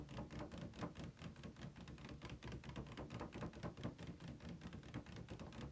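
Fingertips and nails tap on the top edge and inner wall of an empty, hollow, ribbed white plastic insert tray from a game console box, about hand-sized and held upright on a bed. A steady stream of quick, soft, hollow taps follows, with dull low thuds that die away almost at once.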